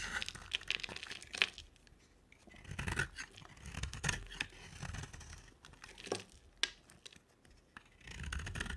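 An oval, solid green bar of soap with a black glitter rim is held in the hand and scraped and shaved with a utility knife blade. Dry, bright scraping and crisp shaving strokes come in irregular bursts, separated by quieter pauses, with a few sharper clicks standing out.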